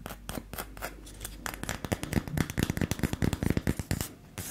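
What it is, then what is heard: Wooden disc coaster. A small, solid, palm-sized round wooden disc, likely a coaster, is held in one hand and tapped and scratched with the long acrylic nails of the other. Quick, irregular nail taps and scratchy strokes make short, dry clicks with no ring, growing busier and louder toward the end.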